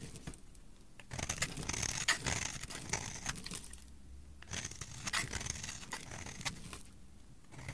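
A flat metal blade scrapes and shaves the cut face of a solid, palm-sized purple bar of soap held in a hand with long dark nails, peeling off purple flakes. Bursts of dry, bright, crackly scraping come in rough strokes, with brief quieter pauses between them.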